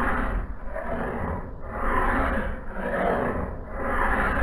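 A hand file is drawn along the blade bevel of a solid steel axe head held in a vise on a blue cloth. The result is a steady, rough scraping in slow, repeating strokes about once per second, each swelling and easing. The sound is dense and gritty, mostly low and mid, with little brightness.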